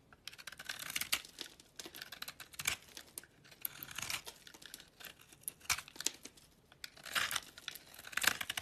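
A utility knife blade scrapes and carves flakes off a small, solid, translucent amber glycerin soap bar with green edges, held in the hand. The result is a series of quiet, crisp, crackling scrapes, bright and papery like tearing or crinkling, with brief pauses between strokes.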